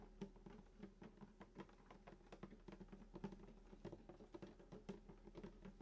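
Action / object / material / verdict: tap / wooden acoustic guitar body / wood / none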